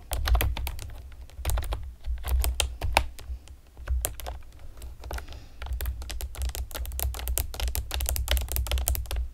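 A pastel plastic typewriter-style computer keyboard with round retro keycaps and hollow keys is typed on rapidly by long painted nails and fingertips. The result is a dense run of sharp, dry, hollow plastic clicks and taps with no ring, over a low rumble, with brief pauses between bursts.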